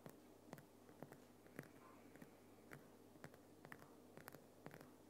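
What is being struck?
Rock salt lamp.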